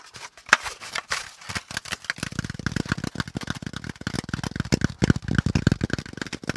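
Fingertips tap along the folds of a brown corrugated cardboard packaging insert with hollow pleated compartments, held close. The first two seconds give sparse, bright, papery taps with light crackle; then a fast, steady run of short, dry, hollow thumps with a low-heavy body fills the rest of the clip.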